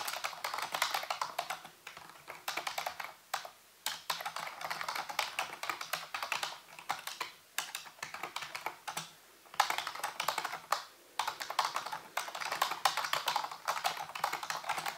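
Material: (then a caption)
Plastic. Fingertips and nails type and tap on the keys of a full-size black plastic computer keyboard with a hollow housing. The result is rapid, bright clicky keystrokes in bursts, with brief pauses between runs.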